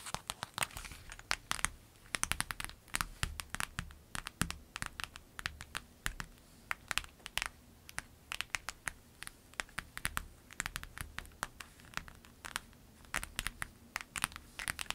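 A clear lemon-print vinyl zip pencil bag lies flat while long acrylic nails tap and scratch across it. Quick, sharp, crinkly clicks and scrapes come in irregular bursts, bright and dry with almost no ring, over a faint low steady hum.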